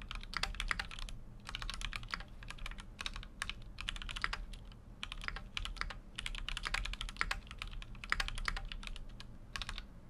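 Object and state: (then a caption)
Mechanical keyboard being typed on. Fingertips type continuously on a full-size Keychron Q6 mechanical keyboard with an aluminum case and plastic keycaps. Rapid, short, bright clacks arrive in dense bursts separated by brief pauses, each keystroke dying away almost instantly, over a steady low hum.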